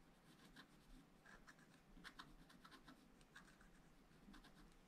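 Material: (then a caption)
Coated paper. A wooden stylus scratches short strokes into a black coated page of scratch-art paper in a spiral pad. Quiet, dry scratches with a bright, crackly edge follow one another at an uneven pace over a soft low rumble.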